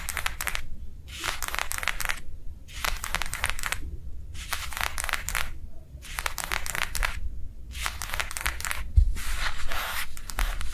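Long nails quickly tap and scratch a thin, small, rectangular sheet of matte translucent plastic lying flat on a soft table cover. Bursts of dense, bright crackly scratching and tapping alternate with short pauses, over a steady low rumble.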